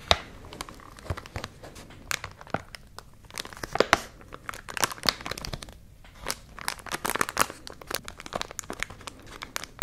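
A tall white paper "Sea Spaghetti" pouch with a clear plastic window, partly filled with dried seaweed, is held in both hands and squeezed and crinkled with fingertips and long nails. Dense, dry crinkling and crackling comes in bursts of short, bright snaps with little low end.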